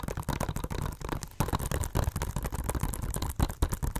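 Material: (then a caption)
Plastic. A hollow blue plastic Blu-ray case with a cardboard slipcover, held upright, is tapped quickly with long nails. The result is a rapid, continuous run of short, dull, bassy knocks and clicks that die away almost instantly.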